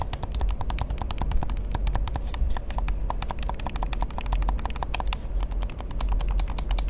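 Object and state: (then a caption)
Plastic game controller being tapped. A hollow black plastic gamepad, held in both hands, is tapped and clicked rapidly on its buttons and shell by fingertips. The result is a dense, steady stream of short, sharp clicks with bright, crisp tops over a constant low rumble.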